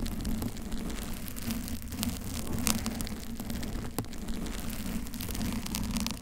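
Long acrylic nails on both hands scratch the soft surface of a pink, bear-shaped foam cover on a Blue Yeti microphone throughout, while the blue foam-covered mic beside it stays untouched. The result is a continuous dense, muffled rustling heavy in low rumble, with a steady low tone around 220 Hz and occasional brighter crackly scrapes.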